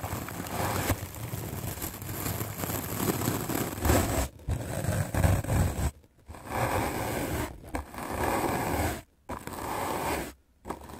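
A white rectangular magic eraser block of solid melamine foam, held in the hand, is scrubbed aggressively with a medium black-bristle paint brush. Fast, rough scratchy brushing runs in dense bursts with a heavy low rustle, broken by a few short silent pauses.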